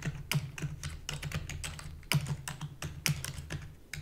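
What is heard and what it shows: Rapid typing with long fingernails and fingertips on a full-size black plastic keyboard with a hollow body. A quick run of bright, clicky key taps over a steady low hum, with a few sharper, louder strikes standing out. Each tap dies away almost instantly.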